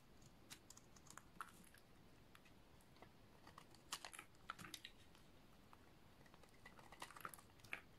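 A solid green oval bar of dry soap is repeatedly shaved along its edge with a snap-off utility knife blade, peeling off thin shavings. The result is a quiet run of crisp, dry crunching scrapes and short bright ticks, each dying away almost instantly, over a low, steady background hiss.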